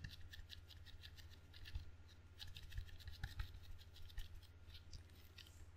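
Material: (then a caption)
Rubber. Fingertips tap and scratch quickly on the sticky red rubber facing of a table tennis paddle with a solid wooden blade, held low. A dense run of short, dry scratching ticks with bright, crackly texture rises and falls over a steady low hum.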